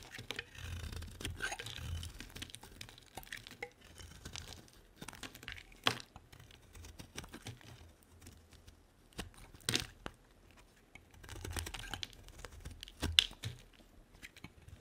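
A utility-knife blade carves flat chips from a solid white bar of soap with a pink edge, held in the hand. Quiet, bright scraping and crumbly crackling run throughout, broken by a few sharper snaps as chips break away.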